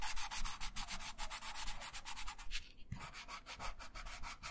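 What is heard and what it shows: A wooden colored pencil held in the right hand shades in quick strokes across a thin printed paper coloring sheet lying flat on a wooden table. Rapid, rhythmic scratchy rasps carry a bright, hissy edge. The strokes pause briefly near the three-second mark, then resume a little softer.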